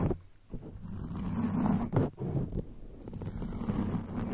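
Long acrylic nails on both hands scratch the soft, porous black foam windscreen of a rhinestone-studded microphone. The result is a dense, muffled rumbling scrape, heavy in the low end, with rough swells and a few sharper bursts.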